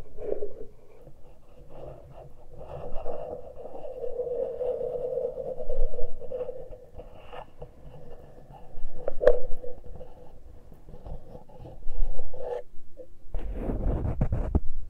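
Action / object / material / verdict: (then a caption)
scrape / metal microphone capsules / metal / none. Fingernails scratch and fingertips pinch the exposed metal microphone capsules of a Tascam recorder, with no cover on them. The result is close, rumbling scraping with a steady midrange hum and a few sharper rubs, swelling in louder bursts. A heavier, boomy handling rumble near the end briefly takes over.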